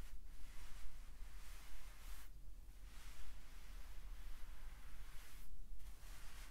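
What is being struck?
Nothing is struck.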